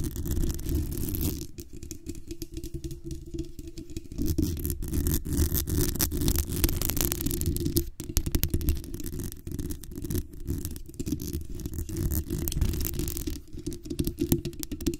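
Long nails tap and scratch the lower grille and metal body of a black USB condenser microphone. The result is a dense run of quick, muffled taps and scraping, heavy in low-end thump with little brightness, each contact dying away almost instantly.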